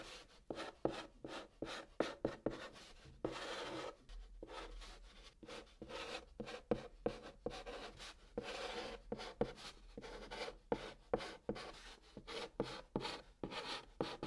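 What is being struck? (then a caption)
Chalk on a cardboard box top. A hand presses a white chalk stick into the top of a large, flat, brown cardboard box, writing Korean letters. Quick, scratchy chalk strokes come in short bursts, mixed with a few longer rasping drags, separated by brief silent gaps.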